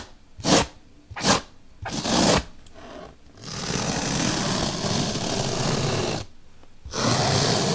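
A bottle brush is poked into a slit in a large, solid, white melamine foam magic eraser block, giving two short, bright, rustling pushes and then a longer gritty one. It then scrapes steadily along the slit in a dense, hissing, scratchy sweep that pauses briefly and resumes until the end.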